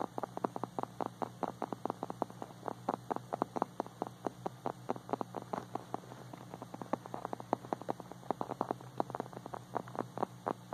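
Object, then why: Small hard plastic toy dog figurine. Fingertips and short nails tap and lightly scratch the body of a small, hard, glossy white-and-blue plastic dog figurine that is likely hollow. Dozens of quick, dry, mid-pitched clicks come in an uneven, rapid stream with no ring, over a steady low hum.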